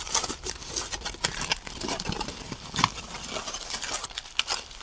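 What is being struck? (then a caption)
Crumpled aluminum foil ball. A small, hollow, loosely packed ball of crumpled aluminum foil is held in both hands close to the microphone while fingertips squeeze, crinkle and rub it. The result is a steady stream of bright, crackly crinkling with many short sharp snaps rising above it.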